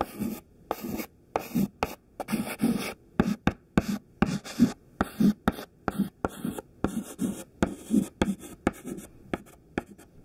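A thin white stick of classroom chalk, held in the fingertips, writes letters near the top of a smudged black chalkboard. Short scratching strokes tap and scrape in quick succession, each with a dry, gritty texture and a low body around 200 Hz. The strokes come in an irregular rhythm with brief silent gaps between them.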